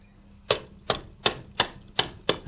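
Tongs tap a freshly cast aluminium alloy tooling block for a small CNC lathe, giving six short, bright metallic clinks with very brief ring. The clearer tone shows the casting has solidified enough, so it is ready to be removed and quenched in water.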